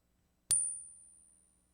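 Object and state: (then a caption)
Non-silver clad quarter. A 2020 copper-nickel clad quarter is pinged once as a non-silver control, giving a sharp metallic strike followed by a thin, high ring that fades over about a second. The ring does not match silver, so the coin fails the silver check.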